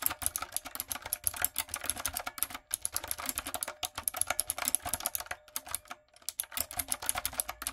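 Fingertips and long acrylic nails type rapidly on a light-up, typewriter-style plastic mechanical keyboard with round plastic keycaps. The result is a steady stream of sharp, bright clicks and clacks, with brief pauses around the third and sixth seconds.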